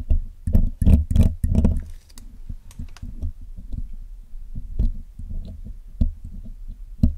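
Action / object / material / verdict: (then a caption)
scrape / metal mesh microphone grille / metal mesh / none. A steel hook pick scratches and picks along the wires of the black, hollow metal mesh grille of a Blue Yeti microphone while cleaning it. Loud, boomy scraping bursts in the first two seconds give way to a quicker, irregular run of quieter clicks and taps. The sound is heavy in deep low thuds, with short, dry hits that die away almost at once.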